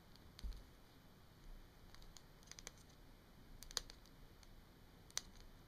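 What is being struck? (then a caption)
Plastic marker barrel. Long nails tap and click along the hollow barrel of a small capped plastic Sharpie marker lying on a wooden table. The result is sparse, irregular, quiet clicks that are bright and sharp, stopping almost instantly, over a soft low background rumble.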